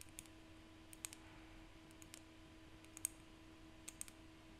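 Seashells are tapped by hand, giving about 13 sharp, bright clicking taps that come in small, irregular clusters. Each tap is very short with almost no ring, heard over a quiet, steady low hum.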